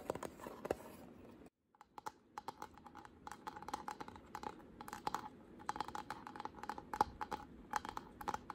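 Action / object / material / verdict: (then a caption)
tap / painted carved wooden panel / wood / none. Short pink nails tap and scratch across a solid square wooden panel painted white and carved with a deep flower relief. The result is a rapid, irregular run of dry, mid-pitched clicks with bright edges and soft scratchy texture, broken by a brief silence near the start.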